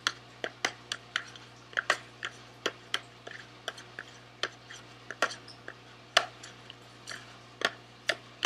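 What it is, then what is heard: Cardboard candy box. Fingernails tap quickly on the face of a small SweetTarts cardboard candy box held close. About two dozen short, dry, bright clicks come in an uneven rhythm, each dying away almost at once over a low, steady hum.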